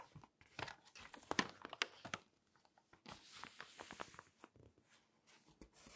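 A thin glossy paper magazine, a nature-style forest issue lying open, has its pages turned and its page surface rubbed with fingertips and long acrylic nails. The result is quiet, crisp crinkling and tearing-like swishes with bright, short taps and scratches. They come in irregular bursts, with a softer, steadier rubbing hiss after a brief pause.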